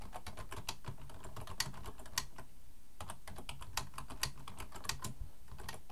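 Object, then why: Plastic computer keyboard. Both hands type fast with their fingertips on a black plastic full-size computer keyboard resting on a wooden desk. A rapid, steady stream of short, crisp key clicks with bright tops sits over a low, muffled thud from the keys bottoming out. A few sharper, louder strokes stand out, and there is a brief lull just before the middle of the clip.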